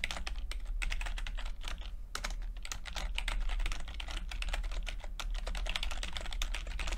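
Fingertips of both hands type continuously on a full-size plastic computer keyboard with low-profile keycaps and red and blue backlit keys. A dense, steady stream of quick, bright key taps and clicks runs over a constant low hum.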